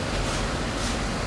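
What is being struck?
Nothing is struck.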